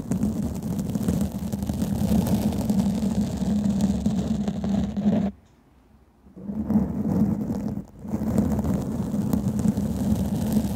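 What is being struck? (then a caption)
Foam microphone windscreen. Long fingernails on both hands scratch and rub a black foam microphone windscreen, producing a dense, muffled scratching and rustling roar weighted toward the low end. The sound runs almost continuously, stops to near silence for about a second midway, then resumes with a brief dip shortly after.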